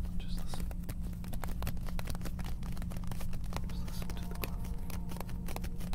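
A small printed cardboard dispenser box of vinyl gloves, hollow and apparently full, is held in both hands and tapped and scratched with fingertips and short nails. Many quick, sharp clicks and scratchy rustles rise over a steady low hum, with most of the energy sitting very low.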